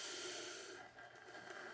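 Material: Nothing is struck.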